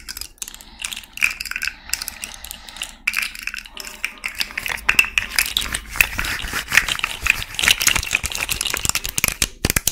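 A small rainbow fidget slug made of hollow, jointed plastic segments is held in both hands while long red nails twist and bend the segments. Dense, bright clicking and ratcheting comes in quick, tightly packed bursts, each click short and dry with almost no ring.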